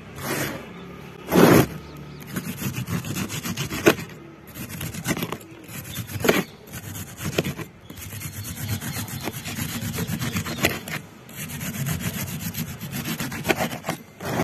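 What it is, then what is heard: Compressed sand block being cut and crumbled. A metal knife blade with a yellow handle slices and scrapes through a solid block of packed grey compressed sand, which is steadied by one hand. Gritty, rasping scraping runs throughout, punctuated by sharp, bright crunches as the block breaks into crumbly lumps on a concrete surface.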